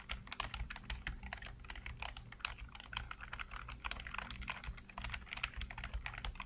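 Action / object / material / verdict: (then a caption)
tap / plastic computer keyboard / plastic / none. Fingertips type rapidly on the keys of a black plastic backlit computer keyboard. A steady stream of short, crisp clicks and clacks with a bright edge rolls over a low, constant hum underneath.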